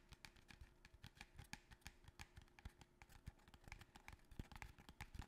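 A small, long, narrow, empty-looking cardboard box held upright in both hands is tapped rapidly with the fingertips and nails. The quiet, dense taps each carry a low, hollow thump with a dry, bright click on top, and die away almost at once.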